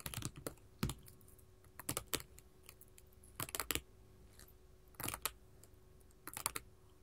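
A sheet of small colored glass mosaic tiles lying flat on a table is tapped and scratched with long gold filigree metal finger claws. Quick bursts of bright, clicking taps sound in small clusters, separated by quiet pauses, with each tap dying away almost instantly.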